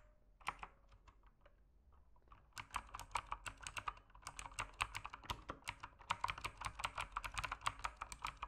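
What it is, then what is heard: Plastic mechanical keyboard being typed on. Fingertips type on a backlit mechanical keyboard with plastic keycaps, starting with a few scattered, sparse keystrokes. These give way after about two and a half seconds to steady, fast typing. Each keystroke is a short, dry, clicky tap with a bright top and almost no ring.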